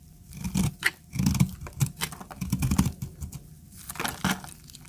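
A utility knife blade scrapes and carves a solid, hand-sized, tan bar of dry soap held in a hand with long red nails, shaving it into crumbly flakes. Irregular bursts of dry, crunchy scraping and crackling come through, full in the low body with bright, gritty crackle on top.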